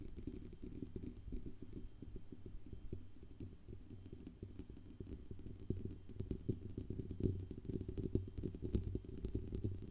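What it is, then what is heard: Metal USB microphone body tapped and scratched. Long nails tap and scratch the band under the grille and the metal sides of a silver Blue Yeti USB microphone with a hollow metal body. The result is a dense, irregular stream of soft, short, muffled thumps and scraping rustles, heavy in the low end with a deep hollow resonance. Occasional brighter clicks poke through, and the tapping grows slightly louder and sharper toward the end.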